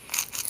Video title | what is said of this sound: MLCC's Are They Worth The Effort??? (Part 2) | They have a dead sound to them.